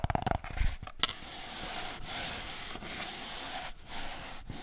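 Fingers rub and scratch an empty, hollow cardboard kitchen roll tube. A quick burst of light taps and scuffs is followed by a steady, bright, papery scratching that breaks off briefly a few times before continuing.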